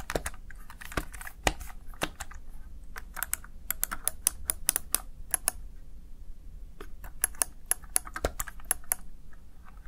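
Fingertips tap the keys of a plastic Razer Tartarus Chroma gaming keypad in quick typing, producing a run of around thirty sharp, bright clicks. Each click dies away almost at once over a steady low hum.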